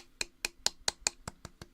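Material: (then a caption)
Wood. Seven quick knocks on the wooden body of a hard-tail electric guitar with a burnt relic finish, each a short, sharp tap heavy in bright high frequencies with almost no ring. The knocks sound hollow, showing the body is hollow inside.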